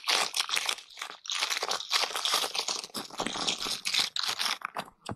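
A natural bristle bath brush with stiff pale tufts is scratched and rubbed by hand against a clear pane, heard close up the whole time. It makes dense, bright, crinkly scratching in rapid bursts with brief pauses, almost no low end, and a dry, short decay.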